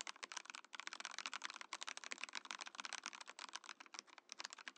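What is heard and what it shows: A compact Mojo68 mechanical keyboard with a translucent clear plastic case and plastic keycaps is typed on with the fingertips while the Mojopad numpad beside it sits idle. The result is a quick, steady stream of short, bright, clacky keystrokes with almost no ring and no low-end thump.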